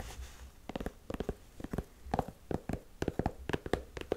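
Long nails scratch the white textured rubber sole edge and the canvas of a black Converse high-top canvas sneaker. Sixteen short, dry, raspy strokes come in quick uneven clusters, mostly low and midrange with little brightness. Each stops almost instantly with no ring.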